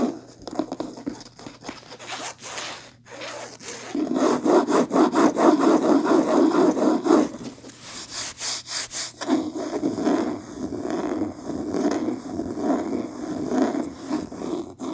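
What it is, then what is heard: Cloth-bound hardcover book being scratched. Long nails scratch and rub the beige linen-textured cloth cover of a medium, solid hardcover book lying on a table. Fast, rhythmic rasping strokes with a dry, papery texture come in waves, swelling louder in the middle and again toward the end.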